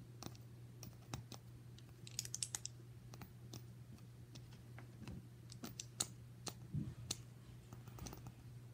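Fingertips rub, spin and tap a small solid brass upright piano caster wheel with its axle pin and bracket, held close up. Short, dry clicks and bright metallic ticks come scattered over a steady low hum, with a brief burst of light scraping early on.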